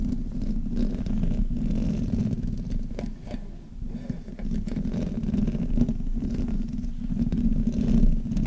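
Long painted nails and fingertips rub and scratch both sides of the hollow metal mesh grille on a black Blue Yeti USB microphone. The result is a steady, muffled low rumble full of scratchy friction, dipping quieter for a moment midway before building back up.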